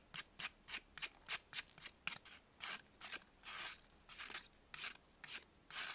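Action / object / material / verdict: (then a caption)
scrape / pressed baking soda block scraped with a metal knife / baking soda / none. A metal knife scrapes and carves a solid white, faceted pressed baking soda block held in blue-gloved hands. There are 17 separate bright, crisp, hissing scrapes at an uneven pace, some short and sharp, others longer, softer strokes, with almost no low end and little ring after each stroke.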